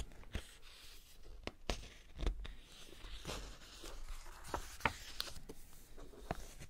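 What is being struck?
Glossy paper magazine.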